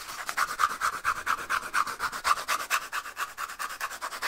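Fingernails scratch rapidly over a small, hollow, empty cardboard toilet paper tube held in both hands close to the mic. Around two dozen quick, dry, rasping strokes follow in a fast, uneven rhythm. Each carries a papery midrange hiss centred near 1.2 kHz with bright edges and no low end, and dies away almost instantly.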